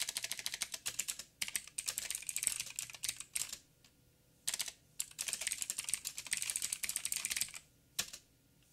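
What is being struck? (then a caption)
Plastic mechanical keyboard. Fingertips of both hands type rapidly on a backlit 87-key mechanical keyboard with plastic keycaps and clicky blue switches. Bursts of sharp, bright clacks come in quick runs, broken by short pauses and a single final flurry near the end. Each click is crisp and dies away almost at once, with very little low end.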